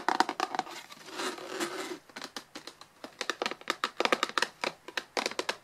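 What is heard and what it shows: Long nails and fingertips tap and scratch the top and sides of a plain white, hollow, closed cardboard inner box standing on a table. Quick bursts of dry, papery clicks give way to a second of steady scratching, then more rapid light taps. The sound is thin and bright with no low end, and each tap stops almost instantly.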